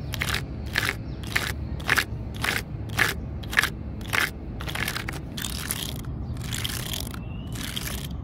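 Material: Wood.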